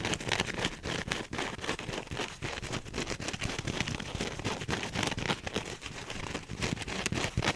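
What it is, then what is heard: Foam sponge being scratched. A soft, porous teal wavy polyurethane foam sponge is squeezed and scratched with the fingernails and fingertips of both hands. The result is a dense, fast, irregular run of crackly scratching and rustling, broadband from low thumps to bright hiss, with short dry strokes that barely ring.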